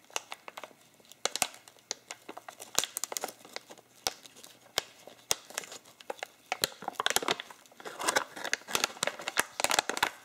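Both hands grip and fold the fold-over top of a partly full medium bag of ground coffee made of printed plastic/foil laminate, crinkling and crumpling it with the fingers. The result is a steady run of sharp, bright crinkles and crackles with almost no low end. The crinkling grows denser and louder toward the end.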